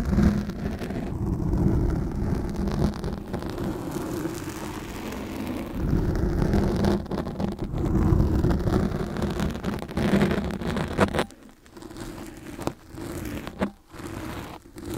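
Two steel forks, one in each hand, scratch and prod with their tines at a soft, porous, black dome-shaped foam windscreen on a microphone resting on grey foam. The result is a dense, muffled, rumbling scrape, heavy in the lows, with a faint steady hum underneath. Near the end it breaks into brief quiet gaps between bursts of scratching.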